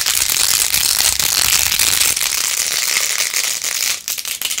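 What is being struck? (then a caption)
Plastic phone case with glued plastic pearl beads. Long acrylic nails fast-scratch and tap across rows of pink plastic pearl beads glued onto a handheld rose-gold-edged plastic phone case. The result is a dense, bright, crackling rattle of quick clicks and scrapes, steady throughout. It briefly thins into sparser taps near the end.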